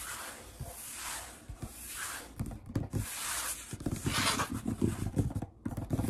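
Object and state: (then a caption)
Wooden tabletop. Fingertips slowly tap and rub a large, solid wood-grain tabletop. A soft, breathy rubbing hiss comes first, then a run of dull, low knocks with very short decay mixes with brighter scraping swishes.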